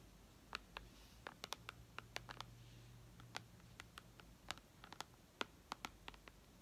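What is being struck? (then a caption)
Tablet glass touchscreen. Long red nails tap on the glass touchscreen of a white iPad lying flat, making about 25 sharp, bright clicks in an uneven rhythm. Each tap is very short and dry, heard over a quiet, faint low hum.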